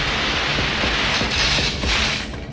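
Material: Nothing is struck.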